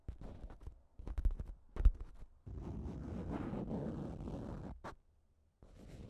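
Long nails tap and scratch a thin pink plastic shower cap with a cat print stretched over a recorder. Scattered muffled taps give way to a steady, low crinkling scrape. After a brief pause, the scratching starts again.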